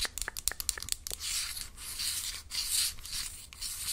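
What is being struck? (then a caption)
Small cardboard box. Long acrylic nails tap and scratch a small, hollow, closed orange-and-yellow printed cardboard box with a barcode, held in one hand. A quick run of sharp, crisp taps in the first second gives way to longer bright, hissy scratching strokes across the cardboard surface.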